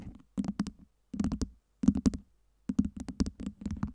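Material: Acrylic.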